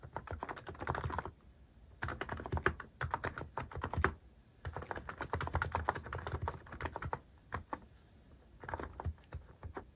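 Fingertips type quickly on a cream mechanical keyboard fitted with sculpted plastic cat and paw keycaps. Bursts of rapid, crisp key clicks and clacks come in runs with short pauses between them.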